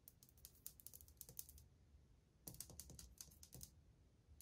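Long painted fingernails tap fast in a drumming pattern on old glazed white ceramic subway tiles on a solid wall. Quiet, sharp, bright clicks come in two quick bursts separated by a short pause, each tap dying away almost instantly.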